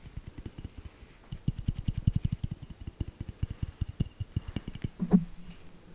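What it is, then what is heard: Glass bell ornament. A small hollow glass bell ornament with glitter, held in the hand, is tapped and scratched with long nails. Around 25 quick, dull, low-pitched taps follow one another with almost no ring, and a louder scratch near the end leaves a brief low hum.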